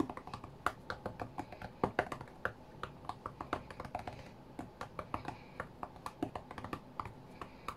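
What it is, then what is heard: Glass tablet screen tapped by fingertips. Fingertips tap quickly on the glass touchscreen of a flat white iPad, as in a rhythm game. Dozens of short, dry clicks and taps come in an uneven, rapid run, each dying away almost at once over a faint, quiet background.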